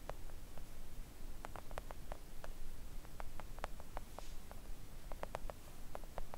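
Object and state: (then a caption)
Silicone nail art mat. A flat, thin, solid pink silicone nail art mat lying on a table is tapped with long coffin-shaped press-on nails. It gives soft, quick, dull clicks that each carry a brief bright tick, over a low, steady hum.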